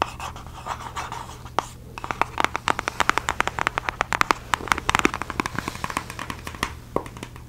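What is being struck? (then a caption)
Small cardboard box. Long glossy fake nails tap and scratch the lid and sides of a small, hollow, palm-sized red Nike-branded cardboard shoe box. Soft, papery scratching opens the clip, then gives way to dozens of quick, dry, bright clicks that die out almost instantly, over a faint steady low hum.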